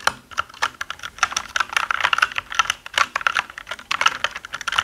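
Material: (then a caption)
Plastic. Fingertips of both hands type rapidly on a black mechanical keyboard with plastic keycaps. The result is a fast, uneven stream of sharp, bright clacks centered around 1.4 kHz, each dying away almost instantly, with no low-end thump.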